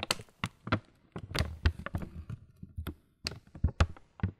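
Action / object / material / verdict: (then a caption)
tap / laminated plastic cereal bag / plastic / none. A full printed, laminated plastic Kellogg's muesli bag stands on a table and is tapped and rubbed with the fingertips. Soft, dull taps with brief crinkly rustles between them come in irregular bursts. The taps have a low thud and a short bright crackle.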